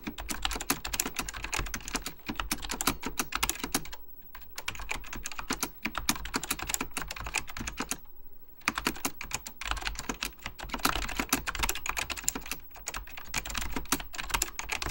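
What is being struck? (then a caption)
Plastic mechanical computer keyboard. Fingertips type rapidly on an Apple Extended Keyboard II, a plastic mechanical computer keyboard with beige plastic keycaps and a hollow plastic case. The result is dense, bright, clacky key taps with short decay, broken by brief pauses around 4 and 8 seconds.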